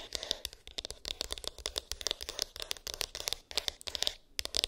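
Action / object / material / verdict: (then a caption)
tap / small cardboard box with textured lid / cardboard / none. Long pink acrylic nails tap and scratch a small, hollow white cardboard iPhone box with an embossed, textured lid, contents unknown. A rapid, uneven run of crisp, bright clicks mixes with dry scratchy rustling, each tap dying away almost instantly with very little low-end body.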